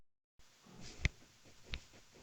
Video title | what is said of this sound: Insta360 DIY solid handlebar mount | Subukan natin alugin. Ayan, solid na solid yung mounting niyan.